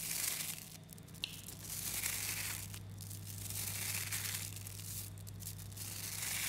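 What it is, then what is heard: Mass of small magnetic metal balls. A mass of about 11,000 3mm neodymium magnetic balls, a clump of small metal spheres, is squeezed by thumbs and then stretched into chains by hands. The balls produce a dense, bright stream of clicks, snaps and crinkling rustles that swells and fades in waves over a steady low hum.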